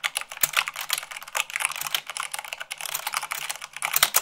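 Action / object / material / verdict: tap / plastic mechanical keyboard / plastic / none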